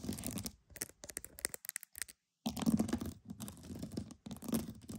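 Pearls are tapped and scratched, making dense, crackly clicks and scraping with bright transients over a low body around 220 Hz. The sound comes in quick, uneven bursts that pause briefly near the middle before resuming more steadily.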